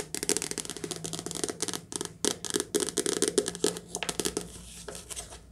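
Fast, continuous tapping on a soft-cover paper book produces a rapid stream of short, papery taps, each dying away almost at once. The taps have a dry mid-range body around 400 Hz with bright, crinkly highs. A steady low hum sits underneath throughout.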